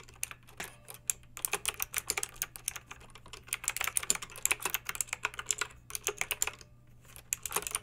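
Long acrylic nails type quickly on a backlit plastic mechanical keyboard with round plastic keycaps, producing a steady stream of sharp, bright clicks and clacks with very little ring. A faint low hum sits underneath the typing throughout.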